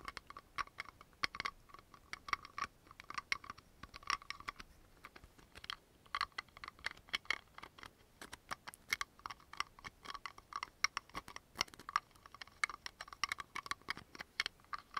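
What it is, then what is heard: Plastic bottle and cap tapped. A blue plastic toner bottle with a plastic cap, held close, has its cap quickly opened and closed and is tapped with fingertips and nails. The result is a rapid, irregular stream of sharp, dry clicks and taps with almost no ring, bright and concentrated around 1–2 kHz and above.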